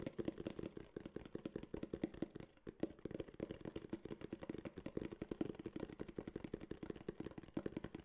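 A small, flat, tan kraft cardboard box held upright is tapped and scratched with fingernails. A rapid, steady stream of dry, hollow taps with a low-mid body around 300 Hz mixes with light scratching, and each tap dies away almost at once.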